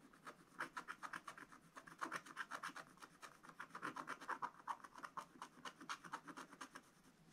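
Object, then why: Black-coated scratch-art paper page scratched with a wooden stylus. A wooden stylus scratches lines into a flat, black-coated scratch-art paper page in a spiral book. Quick, dry scratchy strokes repeat in an uneven rhythm of about four per second, each short rasp centered around 1 kHz with a bright edge and almost no low end.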